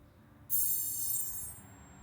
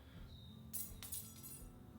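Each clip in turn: First: 5356 aluminum welding wire spool, harder alloy with a tinny sound. Second: 4043 aluminium welding wire spool, the duller-sounding alloy.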